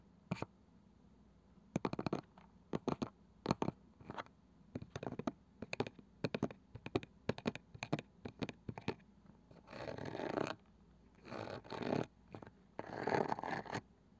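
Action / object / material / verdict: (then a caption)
scrape / small round wooden box with woven cane side band / wood, cane / none. A palm-sized round box with a light wooden lid and a woven cane side band, probably hollow, is held and scratched with fingernails on the lid and the woven side. Short, dry scratchy clicks come in quick uneven bursts for about nine seconds. Then three longer, rasping scratch passes follow, the last while a hand partly covers the box.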